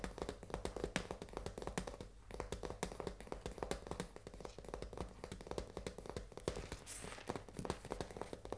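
Long nails tap rapidly on the front and edges of a full cardboard risoni pasta box held flat in both hands. The result is a quiet, steady stream of short, dry clicks and hollow knocks with a low papery thud beneath them, and brief rustly scrapes between taps.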